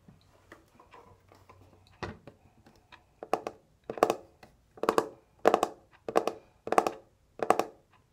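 A small pink metal twin-bell alarm clock, hollow and held in the hands, is tapped with fingertips and nails on its face and case. Light, scattered clicks come first, then the taps grow louder into a steady run of about eight sharp, bright knocks with a brief hollow body and almost no ring.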